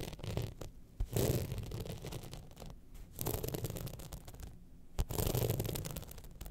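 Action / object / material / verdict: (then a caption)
scrape / rhinestone-studded clutch bag / rhinestones / none. Long nails scratch across the studded surface of a gold rhinestone-studded evening clutch bag held tilted in the hand. The result is a dense, gritty scraping with a heavy low rumble underneath, rising into louder raspy swells at about 1, 3 and 5 seconds.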